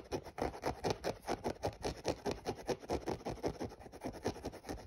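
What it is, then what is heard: Synthetic mesh sneaker. Fingernails scratch the textured upper of a grey synthetic mesh running shoe, hollow and empty, right beside the laces. The result is a quick, steady run of short, dry scratching strokes, about two dozen over five seconds, with a papery midrange rasp and no ring after each stroke.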